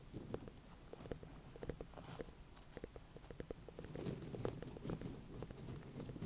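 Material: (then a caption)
Pumpkin rind. Long painted fingernails tap a small ribbed orange-and-cream ornamental pumpkin with a firm rind, held over hay. The taps are quick, dry, hollow clicks with a low body and almost no ring, falling in an irregular patter over a soft, constant rustle.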